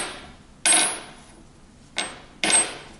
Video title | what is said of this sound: GraphTech Black TUSQ XL | That has that, like, obviously that metal ping to it.